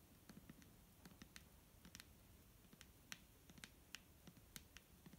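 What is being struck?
Plastic bottle filled with liquid.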